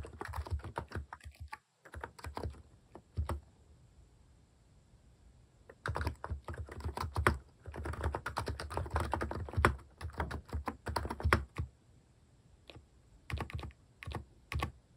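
Fingertips type on a mechanical keyboard with plastic keycaps, producing bursts of quick clacking keystrokes separated by pauses. The clicks are short and dry with a strong low thump under a lighter bright tap, coming in uneven runs that stop and restart throughout.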